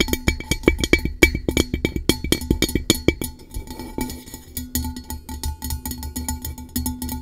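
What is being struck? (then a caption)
Hollow metal tumbler tapped with fingernails. A blue-coated hollow metal tumbler held over a microphone is tapped rapidly with long nails. Quick, clicky taps ring briefly with a bright metallic tone near 2.3 kHz over a soft low thump. The taps are louder and more spaced in the first half, then turn softer and denser.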